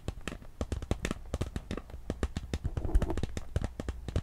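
Long pink acrylic nails scratch and crinkle the surface of a small, empty, hollow handbag made of clear iridescent holographic PVC with a gold chain, held close. The result is a rapid, dense stream of sharp, dry crackles and taps that die away almost instantly, with a low, thumpy body and little high-end brightness.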